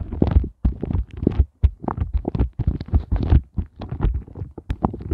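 Fingertips and glittery-polished nails tap and scratch quickly across the raised heart bumps of an upside-down pink flexible silicone heart ice cube mold lying on a fluffy surface. The result is a steady run of soft, muffled, low thumps with faint scratchy texture, mostly deep and dull with brief pauses between bursts.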